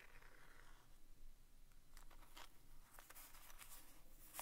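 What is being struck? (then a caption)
Small cardboard box of staples. The tip of a wooden stick traces, scratches and taps the side and front faces of a small vintage green printed cardboard box of Commander staples, hollow and presumably full, held in the fingers. Soft, papery scratching and rubbing give way to a series of crisp, bright taps and scrapes in the second half, all at a quiet, close level.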